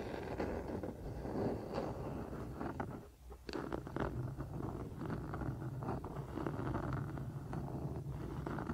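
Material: Wood.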